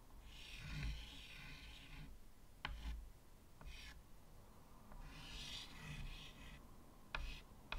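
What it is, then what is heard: Chalk scratching on a framed chalkboard. White chalk draws swirls near the bottom edge of a medium, flat chalkboard set in a wooden frame. Two long, bright, scratchy rasping strokes are heard, with shorter scratches and sharp chalk taps between them over a low rumble.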